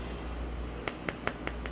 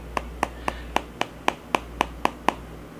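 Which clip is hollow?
The second.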